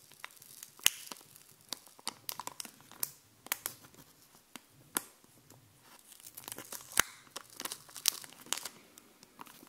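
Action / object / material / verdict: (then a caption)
tap / puffy plastic stickers on a backing sheet / plastic / none. Long painted nails tap and scratch across a sheet of raised, glossy puffy plastic stickers with dog and heart designs on a backing card. The sound is a quiet, irregular stream of sharp, bright clicks and crinkly scratching with almost no low end. Each tap ends instantly, leaving a dry plastic crackle.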